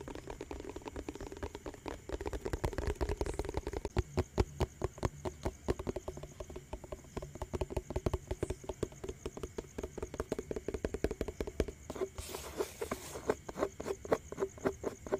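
A round yellow plastic tub with a lid is tapped quickly on its lid and sides with fingertips and nails. The result is a steady run of short, dry, hollow taps with a low, muffled body and almost no ring, briefly joined by a soft noisy hiss near the end.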